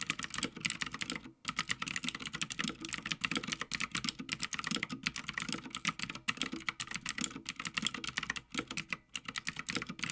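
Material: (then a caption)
Plastic, metal. Fingertips of both hands type continuously on a full-size backlit Havit mechanical gaming keyboard with plastic keycaps on a metal top plate. The result is a steady, dense stream of short, bright clacks with almost no ring, plus a soft lower thock beneath and only a few brief pauses.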